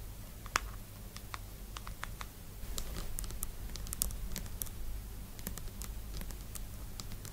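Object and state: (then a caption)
Plastic cosmetic jar. Long nude nails tap and scratch the frosted white lid and labeled sides of a small round plastic cream jar standing upright on a purple blanket, then grip the lid. The result is a quick, irregular patter of short, dry, bright clicks and scratches with no ring, set over a steady low hum.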